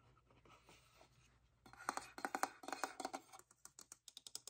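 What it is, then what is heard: Hollow vinyl figure. A small hollow vinyl Youtooz figure shaped like an hourglass, painted to look like wood and glass, is tapped and scratched with fingertips and nails. Soft, quiet scratching comes first, then louder hollow taps with a mid-pitched ring. These give way to a quick, irregular run of crisp, bright clicks that die away almost instantly.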